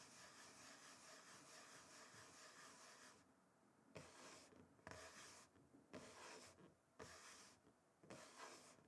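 Both hands rub and scratch the surface of a flat, solid, rectangular wooden chopping board with fingertips and short nails. A steady, bright, rasping scrape runs for about three seconds, then breaks into five separate scratching strokes with brief quieter gaps between them.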